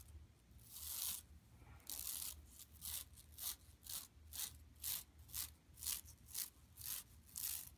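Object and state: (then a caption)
Plastic mesh shopping bag scratched. Long nails scratch across an empty, flat yellow woven plastic mesh tote bag lying on carpet. Fifteen dry, bright scraping strokes come in a loose rhythm about once a second, each a short raspy burst over a faint low hum.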